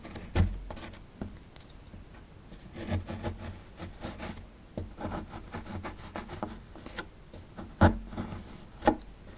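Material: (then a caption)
Plaster. A small, solid plaster fossil dig block is held in the hand while a metal pick chips and scrapes loose plaster from its upper edge, sending crumbs falling. The sound is a steady, muffled, low-heavy scraping and crumbling, broken by a few sharper taps near the start and end.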